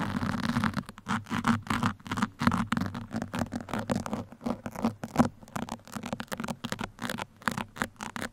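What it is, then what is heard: Foam microphone windscreen scratched with pins. Two metal pins held in the fingertips scratch the sides of a black foam microphone windscreen. The result is a steady run of rapid, irregular scratchy strokes, each a short dry burst of rustling noise with almost no ring, over a constant low hum.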